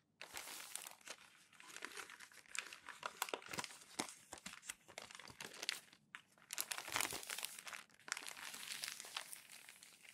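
A stack of thin newsprint newspaper pages is crumpled and pressed flat by hands. Dense, bright crinkling and crackling runs almost continuously, with short lulls just after 6 seconds and near 8 seconds before the rustling picks back up. The sound has almost no low end.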